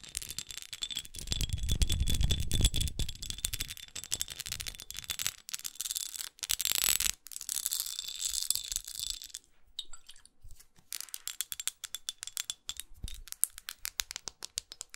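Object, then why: Textured glass perfume bottle. Long acrylic nails tap and scratch the textured sides of a small red studded glass perfume bottle held in the hand. Rapid, uneven clicks and bright, crisp scratching run throughout, with a denser, fuller rubbing stretch near the start. Brief pauses break up the tapping.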